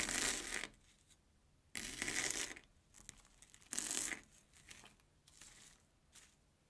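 Airy yellow Banana Kick corn puff sticks are sliced with a steel kitchen knife on an orange plastic cutting board. Three loud, bright crunching bursts, each lasting under a second, are separated by softer crackles and crumbly ticks that fade out toward the end.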